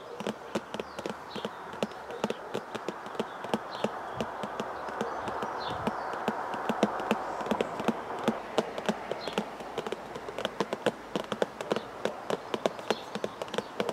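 Fingers tap steadily on a tea bag box, presumably cardboard, producing many quick, dry, hollow clicks. The taps are sharp and short with almost no ring, and they sit over a soft rustling hiss that swells slightly midway.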